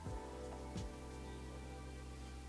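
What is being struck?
Nothing is struck.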